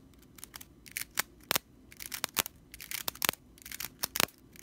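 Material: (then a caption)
Straw. Long nails scratch quickly across the bristles of a stitched straw whisk broom. The result is a rapid series of dry, bright, rattling scratches in short, crisp bursts with almost no ring.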